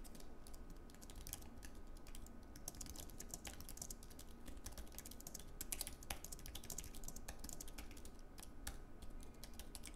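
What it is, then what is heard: Low-profile keyboard being typed on. Fast two-handed fingertip typing on a slim white Apple Magic Keyboard, a wireless keyboard with plastic keycaps on an aluminium base. A dense, steady stream of quick, dry key clicks with short bright ticks runs over a low background rumble. A few louder keystrokes stand out near the six-second mark.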